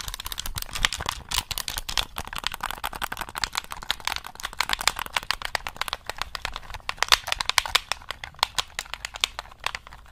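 Fingertips tap and press the buttons of a black hollow plastic gamepad held just above the mic, making rapid, dry clicks. Each click is sharp and bright with almost no ring, and they run in a quick, uneven stream throughout.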